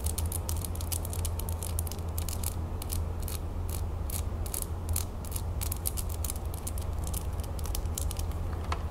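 A small, solid gold-tone metal crown brooch set with blue, green and orange stones is held in the fingers and tapped and scratched with long natural fingernails. Quick, irregular, bright clicks and light scratches patter over a steady low hum that stays at an even level throughout.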